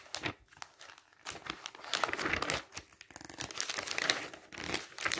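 A hand repeatedly turns the thin coated pages of an open glossy paper travel catalog, making quick bursts of papery flapping and crinkling. The sound is bright and dry with almost no low end, each rustle dying away almost at once between turns.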